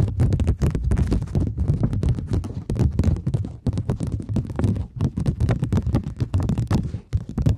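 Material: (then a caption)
Polymer. A thin plastic polymer £20 banknote, held in both hands, is tapped and scratched with long nails and flexed. The result is a dense, steady run of quick, dry taps and scratchy crackles with a heavy low thump under bright clicks, each sound dying away almost at once.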